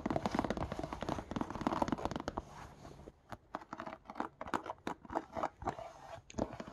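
Fingernails scratch along the stitched rubber sole edge and the suede of a brown suede slipper with a knit upper. The result is a dense, crunchy scratching for the first three seconds, then quicker separate scrapes and scratches with brief quiet gaps between them.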